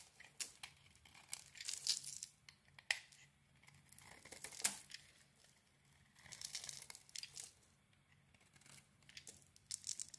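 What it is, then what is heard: Bar of soap being shaved. A cream rectangular solid bar of soap is shaved along its edges with a utility knife blade. Quiet, bright scraping and crisp peeling bursts come in uneven clusters, with a few sharper cuts standing out and almost no low end.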